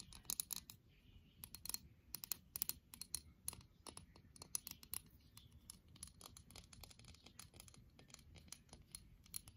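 A small round white porcelain dish with an orange floral pattern is held up in both hands and tapped and scratched with long painted acrylic nails. Quick, dry, bright clicks and scratchy strokes come in irregular bursts with no ring after each tap. A faint low rumble sits underneath.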